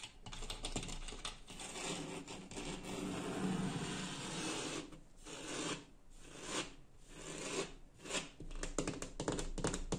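A fingertip and nail tap and scratch the surface of a large, flat, light wood-grain laminated interior door panel that has a small round metal escutcheon. Soft, continuous scraping rasps mix with quick, dull taps that die away almost at once, with a faint low body under them and a few brief lulls between bursts.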